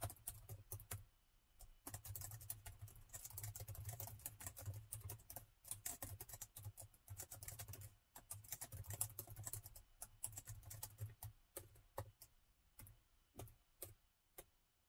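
Plastic laptop keys are typed rapidly with the fingertips, both hands on the keyboard throughout. Dense bursts of short, bright clicks run over a steady low hum, broken by brief pauses, and taper into sparser single taps near the end.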